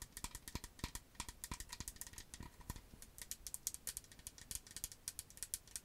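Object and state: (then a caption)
Plastic skincare bottle. Long acrylic nails tap and scratch a medium green plastic skincare bottle with a white cap, hollow and filled with liquid. A rapid, uneven stream of sharp, dry clicks and rattly ticks sounds bright and high, with a faint scratchy texture between the taps. Each tap dies away almost instantly.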